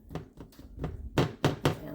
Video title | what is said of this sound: buttermilk biscuits | just tap them down Hollow so that's good they're done